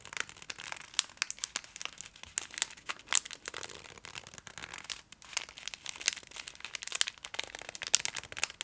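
A full Twix bar in a gold metallic foil wrapper, held in both hands, is scratched and tapped with long acrylic nails. Bright, dry crinkling fills the clip with rapid, irregular clicks and sharp ticks that die away almost instantly, with almost nothing in the low range.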